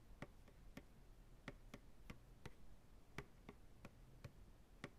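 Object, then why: Upturned plastic pail. A large, empty white plastic ice cream pail is held upside down on a lap, its hollow sides tapped slowly with the fingertips. Each tap is a quiet, short, hollow knock with a low body around 137 Hz and a brief bright click, dying away almost at once. The taps come at an unhurried, slightly uneven pace over a faint background hiss.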